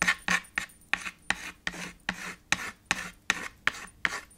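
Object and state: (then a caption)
Chalk on a chalkboard slate. White chalk scratches across a small black chalkboard with a red frame, scribbling and shading in 13 quick, separate strokes. Each stroke starts with a sharp tap and trails into a bright, raspy scrape with a faint squeaky tone around 1.8 kHz.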